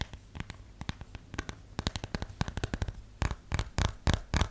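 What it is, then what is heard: Plastic phone case tapped with nails. A plastic phone case is tapped with long nails, first while held and then laid flat. Quick, irregular, dry clicking taps give way to louder, fuller knocks with more low-end thump once the case is laid flat. Each tap dies away almost instantly.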